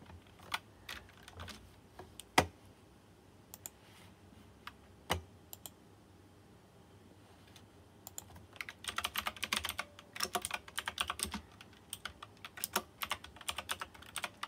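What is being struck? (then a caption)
Plastic mechanical keyboard with round metal-rimmed keycaps. Fingertips of both hands type on a white plastic full-size mechanical keyboard with round typewriter-style keycaps with chrome rims and RGB backlight, pressing and tapping the keys. Scattered single clacks with pauses between them give way after about eight seconds to fast, dense bursts of typing. The keystrokes are short, bright and clicky, with little low end and almost no ring.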